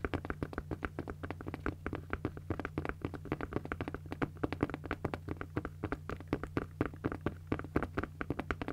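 Long nails tap and scratch a pink padded nylon fabric cosmetic bag in a quick, steady stream of short, soft, dull taps that die away almost instantly. A faint, steady low hum runs underneath throughout.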